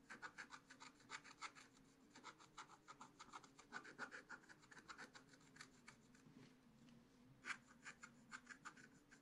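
A wooden stylus scratches short strokes into the black coating of a scratch-art card in a spiral book while the other hand holds the page. A quiet, steady run of dry, raspy scratches sounds over a faint low hum, with brief pauses between bursts.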